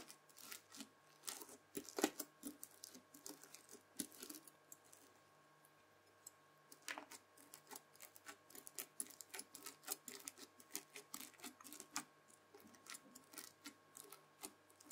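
A white plastic fork presses and scratches through spread-out red bead-filled floam slime, giving dense, bright crackling and clicking as the beads crunch and pop. The crackles come in quick bursts, with a quieter pause about a third of the way through before the crunching picks up again.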